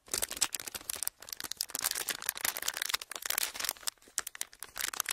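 A thin clear plastic sheet is flexed and squeezed with fingers, giving a dense run of sharp, bright crinkles and rubbing. The crackles are mostly high-pitched with almost no low end, broken by brief pauses near 1 and 4 seconds.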